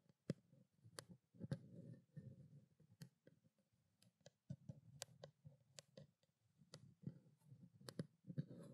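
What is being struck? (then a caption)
Plastic bottle. Long black-painted nails tap a small white plastic skincare water bottle with a printed label, held in both hands. About fourteen quiet, sharp clicking taps come at an uneven pace, each with a brief bright edge over a soft, low, muffled thump. Between them are short stretches of near silence.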